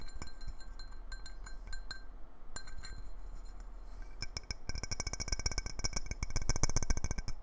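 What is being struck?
Clear glass jar lid.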